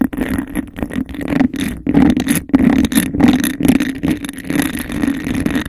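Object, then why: Textured glass cup. Long nails rapidly tap and scratch across the patterned surface of a hollow, empty, hand-sized textured glass cup. The result is a dense, continuous run of quick, dry clicks and raspy scrapes over a steady low hum around 260 Hz. Each contact stops almost instantly with no ringing.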